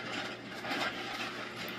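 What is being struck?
Nothing is struck.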